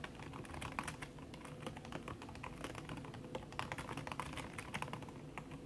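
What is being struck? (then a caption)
Laptop keyboard with silicone key cover. Fast typing with fingertips and long red nails on a backlit aluminium laptop keyboard whose plastic keys sit under a red silicone skin. The keystrokes run in a dense, steady stream of soft, muffled taps with a dull low thud, and brighter clicks poke out now and then. Each tap dies away almost at once.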